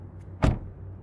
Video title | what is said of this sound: 2023 Hyundai Sonata Limited: Walk Around, Interior, Exterior | let's test what it sounds like when you close it ... oh that sounds solid